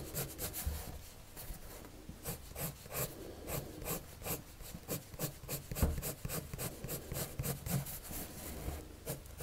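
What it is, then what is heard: Paper drawing sheet. A red-patterned colored pencil rubs across a white paper sheet on a table in steady drawing strokes. Each stroke gives a soft, scratchy rasp with bright, hissy edges over a faint low rumble, repeating in an uneven rhythm throughout.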